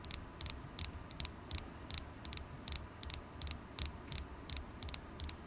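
Long acrylic nails tap a solid polished carnelian crystal point held in the fingers, making about 17 sharp, bright clicks in an uneven rhythm. Each tap is very short with no ring, over a faint low background hum.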